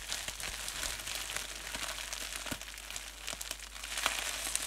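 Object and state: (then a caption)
Plastic bubble wrap. Clear polyethylene bubble wrap, a thin flexible sheet of air bubbles, is bunched up and crumpled in both hands with fingertips and nails. A steady bright crinkling runs throughout, dotted with sharp crackling snaps.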